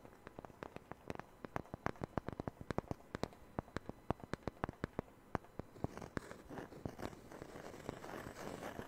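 A small, thin, solid round wooden disc cut from a Taylor guitar's sound hole is held by hand near a knit-covered microphone and tapped and scratched with fingertips and nails. Quick, dry, sharp taps with almost no ring fill the first six seconds, then give way to a steadier, softer scratching rustle toward the end.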